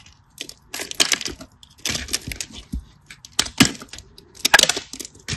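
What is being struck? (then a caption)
Bar soap. A craft knife scratches and cuts into a solid beige cream bar soap, and small cubes break off. Bursts of dry, crisp scraping and crackling come in clusters, bright and hissy with little low end and no ring after each snap.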